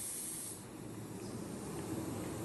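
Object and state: Nothing is struck.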